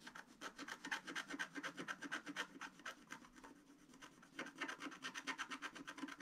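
A long wooden stylus scratches a flat black sheet of wax-coated scratch art paper, held down by one hand, while working on a reindeer's scarf. Quick, rhythmic scratching strokes, about two per second, give a dry, bright rasp. The strokes soften briefly in the middle before resuming at full intensity.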